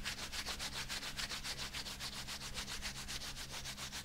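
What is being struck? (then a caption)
Thin rubber dishwashing glove. The bare fingers of one hand rub back and forth over the fingers of a thin, flexible, light green rubber dishwashing glove worn on the other hand. The result is a continuous, rhythmic, bright swishing, about three to four strokes per second, over a faint steady low hum.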